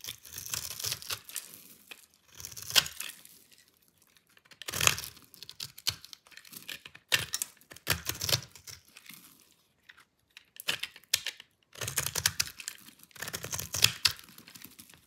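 A solid rectangular bar of dry lime-green soap, held in hand, is shaved and crumbled with a metal utility-knife blade. Bright, dry scraping and crunchy crumbling come in several bursts separated by short pauses. Each stroke is crisp and stops dead with no ring.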